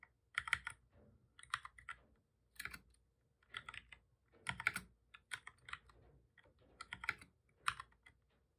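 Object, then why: Plastic computer keyboard. Both hands type steadily with their fingertips on a full-size black plastic keyboard with a hollow body, resting on a desk. Quick bursts of dry, bright key taps come in short clusters, with brief pauses between them. Each click stops almost instantly, leaving little low-end thump.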